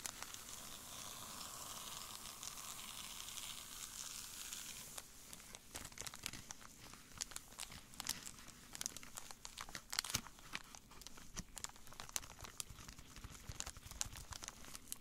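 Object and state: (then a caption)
Foil candy bar wrapper crinkled. A full foil candy bar wrapper lying on a table is crinkled and rubbed with latex-gloved fingertips. The first five seconds are a steady, hissy rustle. After that come dense, bright, sharp crackles and crinkles over a quiet, close background.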